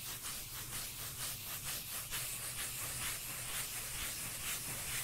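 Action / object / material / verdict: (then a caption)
scrape / cork lid / cork / none. A cork lid is scratched and rubbed in a steady back-and-forth rhythm, giving a continuous bright, hissy sanding sound with no distinct taps. The strokes repeat at about two per second over a faint low hum, with the level staying fairly even throughout.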